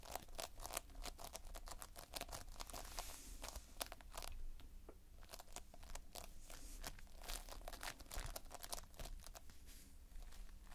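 Fingertips and a thumb squeeze and scratch the surface of multicolored Playfoam, foam beads held in a sticky binder. It makes a dense, continuous stream of sharp, bright crackles, pops and sticky crinkles over a steady low background.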